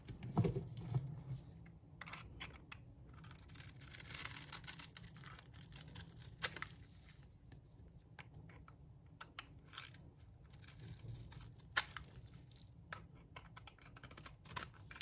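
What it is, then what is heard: Dry bar soap being scraped. A pink bar of dry soap is held in the palm while a metal blade scrapes and cuts across its surface. Soft, dry scratchy scrapes and crumbly rasps follow one another in quick, irregular strokes, with a brighter, denser stretch of scraping around the four-second mark and a few sharper ticks later on.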